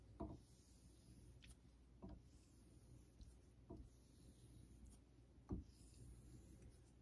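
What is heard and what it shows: A vintage Geneva Cutlery steel straight razor is honed with back-and-forth strokes on a solid, pale Naniwa Super Stone synthetic whetstone. Soft, quiet rubbing and scraping strokes recur every couple of seconds over a low, steady rumble, each with a brief, slightly brighter edge.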